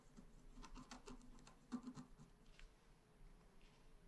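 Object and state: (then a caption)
Scratch art paper being scratched. A pointed wooden stylus scratches across a flat, black-coated scratch art card about A4 in size. The result is a series of quiet, dry, patter-like scraping strokes with brief bright streaks over a soft low hum. The strokes peak near the middle and then thin out.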